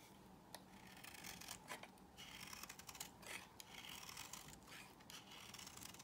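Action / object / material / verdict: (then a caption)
scrape / soap bar shaved with a metal blade / soap / none. A metal blade repeatedly scrapes and cuts shavings off the edge of a solid cream-colored soap bar held in the hand; the soap is from a set that includes Zara, L'Occitane, La Prairie, Yves Rocher and Nesti Dante. The strokes make quiet, dry, bright rasping and crisp scratching sounds that run close together with short pauses between passes and little low end.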